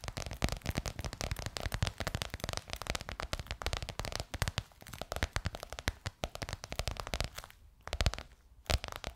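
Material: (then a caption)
Faux leather. Long nails rapidly tap and scratch a bronze-gold crocodile-embossed faux leather cover stretched over a curved hollow form. The result is a dense, crackling stream of short, dry taps with a hollow low thump under each one. Two brief near-silent pauses break it up near the end.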